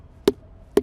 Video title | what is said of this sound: How to Tell When a Tree Is About to Fall | it sound very hollow yeah right here sure it sounds like a drum right so that that indicates there is some decay likely going on inside here